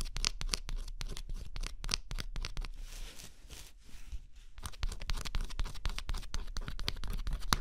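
A stylus scratches the black coating off a thin scratch-off cardboard jigsaw puzzle resting on cloth. Quick, dry scratching strokes repeat rapidly, fading for a moment into a softer, smoother rasp before the brisk scratching picks up again.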